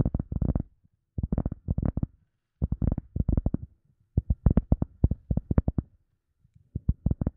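An EVA foam sponge is tapped in quick bursts of soft, dull thuds separated by short pauses. The sound is deep and muffled with almost no ring, and each tap dies away at once.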